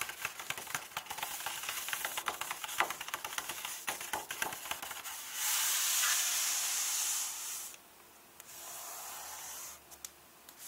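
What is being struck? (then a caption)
Paper pages of an open hardcover book. Fingertips and long painted nails rub and tap the paper pages of an open hardcover book, its pages all filled with the same contents. A quick run of crisp, bright taps and scratches gives way to a louder, steady hissing rub, then a softer rub and a few last light taps.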